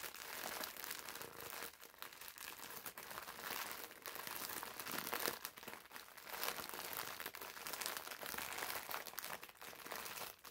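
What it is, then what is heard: Plastic-wrapped foam sponge. A green foam bath sponge wrapped in clear plastic film is squeezed and crinkled in the hands with the fingertips. Its quiet, steady, bright crinkling and crackling carries dense, rapid rustles with brief dips throughout, and almost no low end.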